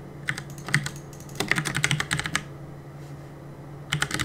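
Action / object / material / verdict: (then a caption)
tap / mechanical keyboard with plastic keycaps / plastic / none. Fingertips rapidly press the keys of a black Cooler Master mechanical keyboard with plastic keycaps and a solid plastic case, resting on a wooden desk during gaming. Short, sharp clicky taps with a bright edge come in quick bursts, with quieter pauses in between. A low thock sits under each press, and every tap dies away almost instantly.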